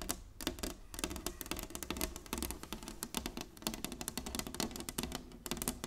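Long nails tap rapidly on a flat, solid inlaid wooden chessboard. The result is a dense run of short, dry clicks with bright edges and a hollow low body. Each tap dies away almost at once.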